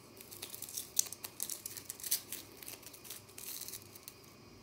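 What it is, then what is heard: Compressed powder bath bomb being crumbled. Long natural nails scratch, flick and crumble a partly broken pink-white bath bomb of solid compressed powder in the bath. A quiet run of dry, bright crackling scrapes and gritty crumbles, mostly in the high range with almost no low end, and a few sharper clicks standing out.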